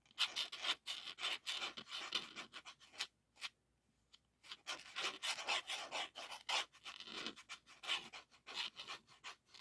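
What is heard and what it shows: Fingertips and nails rub and scratch the paper label and textured hard plastic shell of a blue 3.5-inch floppy disk with a metal hub, held in both hands. The result is a dense run of short, bright, high-pitched scratching strokes with no low end, broken by a near-silent pause around the three-to-four-second mark.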